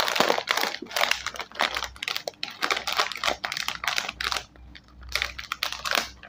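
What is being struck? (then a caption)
Foil-lined plastic chip bag. A full, sealed Scene On Krunch Red Chili Dhamaka snack bag, a small foil-lined metallized plastic chip bag, is squeezed and crinkled with the fingers while being rotated. It makes dense bursts of bright, crackling rustle with short, dry snaps. The crinkling briefly quiets near the end before picking up again.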